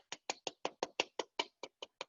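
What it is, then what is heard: Crisp, hollow-sounding pork crackling. Eleven quick, crisp, hollow knocks on the crackling of a roast pork, each dying away almost instantly. The hollow sound shows the crackling is crisp and the fat underneath has rendered, so the pork is done.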